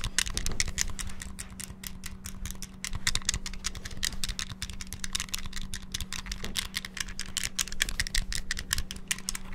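Fingertips rapidly press the buttons of a small, hollow, clear transparent plastic Game Boy handheld with a red cartridge inserted. The result is a dense, continuous stream of sharp, bright plastic clicks and clacks over a low, steady hum.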